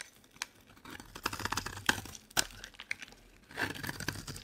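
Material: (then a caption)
Soap. A solid green olive oil bar soap held in the hand is shaved and scraped with a utility knife blade, breaking off crumbly flakes. Dry, crisp scraping and crackly tearing sounds come in uneven bursts, with a few sharp, bright snaps. A denser stretch of scraping follows near the end.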